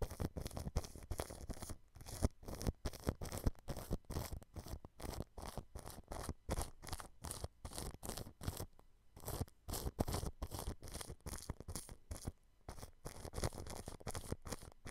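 A thin paintbrush strokes clear cling film stretched over a white dome microphone. Rapid, rhythmic brushing produces soft, crinkly swishes and scratches with a heavy, close low-end rumble. The strokes continue steadily throughout, with brief pauses between them.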